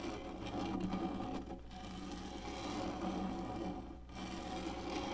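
Long nails scratch and rub with both hands across the textured top of a black, hollow, molded plastic lap tray. The result is a continuous, dense rasping texture with a low, hollow drone underneath. It eases briefly twice before picking back up.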